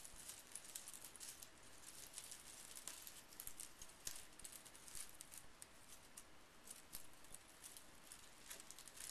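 Fingertips rake and push a small pile of loose, painted metal brad paper fasteners with decorative heads across a bamboo mat. The pieces clink together in a steady, quiet stream of bright, high ticks and short jingles over a soft scraping hiss.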